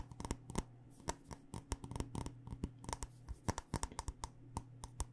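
Long nails tap quickly and irregularly on a black glass candle jar with a paper label, filled with wax, striking both its glass side and its bottom rim. Each tap is a short, sharp click that dies almost at once, heard over a steady low hum.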